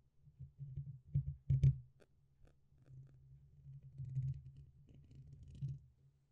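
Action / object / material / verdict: tap / metal mesh microphone grille / metal mesh / none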